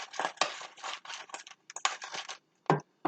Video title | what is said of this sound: Buffalo Wings in The Pampered Chef Deluxe Air Fryer | you can hear how crispy they are